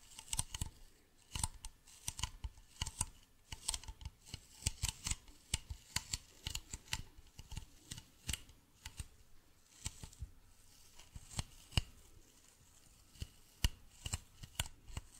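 A medium, hollow white plastic bottle with a blue cap is tapped and scratched with fingernails. The result is a quiet, irregular run of many sharp, dry clicks and taps with a bright edge and a soft low thump beneath, each dying away almost instantly, with faint scratchy rustling between them.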